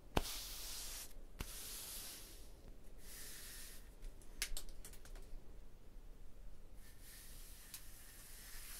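A flat palm and fingers rub across a vertical solid limestone block wall, making soft, bright hissing swishes that swell and fade in long strokes. A few sharp, quick clicks cut through, over a quiet, steady low hum.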